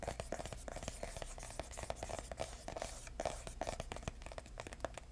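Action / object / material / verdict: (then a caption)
tap / small cardboard box / cardboard / none. A small, hollow red printed cardboard box with a white label is held in the hand and tapped and scratched with bare fingertips, no nails. A quick, steady run of soft, dull taps blends with dry scratchy rustling, each tap carrying a faint hollow tone near 660 Hz and a low thud, with no ring after.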